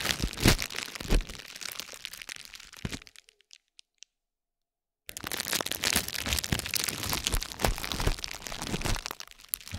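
A metal spiked roller is rolled down onto a stacked pad of green and pink plastic bubble wrap resting on a gold plate, producing dense, crunchy crackles across low and bright tones. The crackling stops for about two seconds, broken only by a few faint ticks as the roller is lifted. It then resumes and continues steadily to the end.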